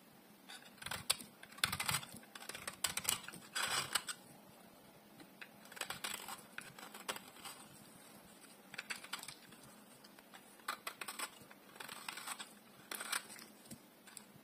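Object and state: Dry soap bar being carved.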